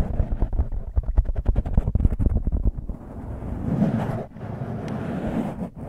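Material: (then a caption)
Foam. Fingertips and nails scratch and squeeze a soft, porous black foam windscreen on a microphone. A quick run of close, bassy scratching thumps fills the first half, then gives way to a steady muffled rubbing and rustling. The sound stays deep and dull, with almost no high end.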